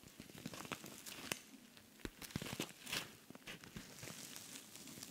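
Fingernails scratch across the face of a silver rhinestone-covered cosmetic pouch with pink trim. The result is quiet, bright, crinkly scratching broken up by short clicky ticks with almost no ring, rising and falling in uneven bursts.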